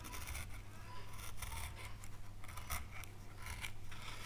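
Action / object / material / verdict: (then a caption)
scrape / wooden carving board / wood / none. A gouge scratches and cuts an oak leaf relief into a small, solid, pale wood carving board, making quiet, bright, dry scraping strokes in short bursts. A steady low hum sits underneath throughout.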